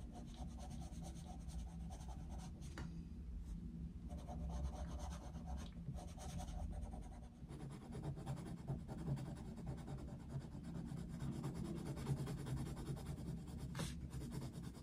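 A brown wooden coloured pencil colours in an open paper colouring book resting on a desk. Soft, steady rubbing and scratching strokes sweep across the paper, low and muffled in tone with a brief lull around the midpoint.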